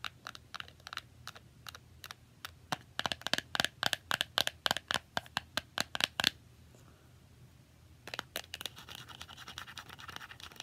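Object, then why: Small cardboard box with foil surface. A small hollow cardboard box with a shiny silver foil surface is held in both hands and tapped and scratched with long nails. For about six seconds, quick, crisp, high-pitched clicks build from sparse to dense taps. After a short quiet gap, a faster, rougher burst of scratching and tapping follows.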